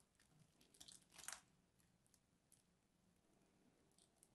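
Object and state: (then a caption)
Bar of soap scraped with a knife. A craft knife scratches and scores a solid lavender-and-white striped bar soap held in the hand, flaking pieces off. Quiet, bright, crisp scraping crunches come in short bursts, with the loudest crackle near the start. Softer scratches and flaking follow against a low background hiss.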